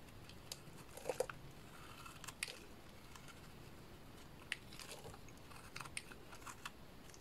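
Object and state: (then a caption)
Bar soap being shaved. A small dark blade shaves thin slabs and curls off the face of a solid pink bar of soap. Quiet, dry crisp scrapes and crunchy snaps are scattered over a low hiss, with brief sharp cracks and a bright edge to each cut.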